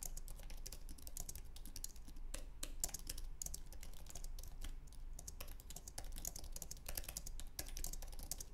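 Fingertips type rapidly on a white, low-profile Apple Magic Keyboard with an aluminum base and plastic keys. The result is a fast, steady stream of short, bright, dry key clicks that stop almost instantly, over a constant low hum.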